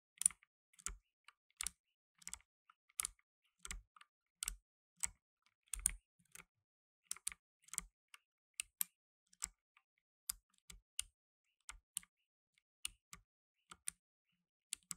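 Blue nitrile-gloved fingertips type on a black tenkeyless mechanical keyboard with plastic keycaps, producing about 32 quiet, irregularly spaced keystrokes over 15 seconds. Each press is a sharp, bright plastic click with a faint low thud underneath, dying away almost instantly into silence between strokes.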